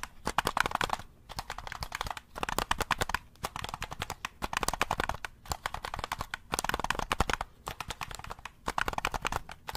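Fingertips press and tap the buttons and shell of a black, hollow plastic handheld game controller held in both hands close to the mic. Quick bursts of dry, clicky taps come in clusters separated by brief pauses, with a bright, plasticky tone and almost no ring.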